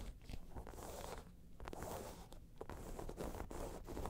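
Fingernails scratch across a round tan crocodile-embossed faux leather bag. The result is a quiet, dry, raspy scraping that rises and falls in short strokes, with brief pauses and a dull low-heavy texture.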